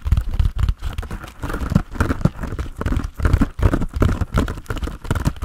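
A hand-sized grey textured foam sponge on a tan foam base, solid and porous, is held in both hands and tapped rhythmically with the fingertips. It gives a rapid, steady series of soft, dull, low thumps with a faint crinkly texture and almost no ring after each tap.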